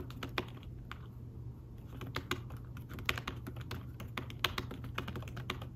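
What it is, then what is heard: Fabric-covered tablet keyboard. Fingertips type fast on a thin folio tablet keyboard with fabric-covered keys, producing soft, short, bright taps that come in quick irregular bursts. A steady low hum runs underneath the whole time.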